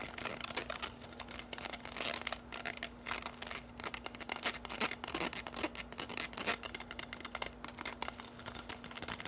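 Long nails tap and scratch quickly along a bundle of hollow orange plastic drinking straws, making dense, bright clicks and dry scratchy rustling. A faint steady low hum runs underneath the whole time.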